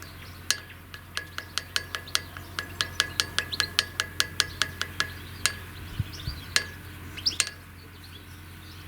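A handmade clay ball, dried in the shade for a week, is knocked against hard surfaces (wood, concrete and metal) as a strength test, giving a quick series of sharp, bright taps with a short ringing tone around 1.7 kHz. The taps come steadily and then spread out over a soft background hiss. The ball sounds good and shows no cracks.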